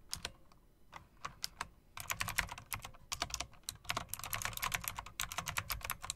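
A mechanical typewriter-style keyboard with round plastic and chrome metal-rimmed keycaps and RGB lighting is typed on by fingers with long dark nails. Fast, bright, crisp clicks come in quick bursts, with a brief pause early on before denser typing continues.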